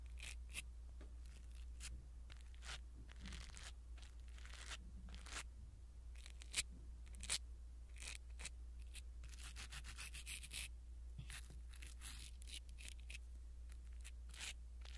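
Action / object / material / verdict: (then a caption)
scrape / foam microphone windscreen / foam / none. A blue silicone-bristle ear pick brushes a small black foam windscreen on a pin microphone, making soft, scratchy rustles and bright crackling strokes close to the mic at an irregular pace. A steady low hum runs underneath throughout.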